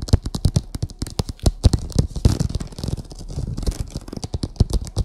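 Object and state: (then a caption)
Vinyl oilcloth tablecloth. Long acrylic nails tap and scratch across a printed vinyl oilcloth covering a flat table. Rapid, dull, low thuds mix with short bright clicks, and a soft scratchy rasp drifts through the middle. Each tap dies away almost instantly with no ring.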